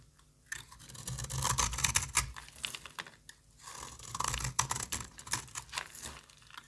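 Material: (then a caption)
Soap. A solid rectangular orange soap bar, held in the hand, is shaved and cut with the metal blade of a yellow box cutter, so flakes fall onto a pile of soap shavings. The sound is a dense, bright, crisp scraping and crackling in two long bursts, separated by a brief quiet pause, with sharp little clicks as the blade catches and flakes break away.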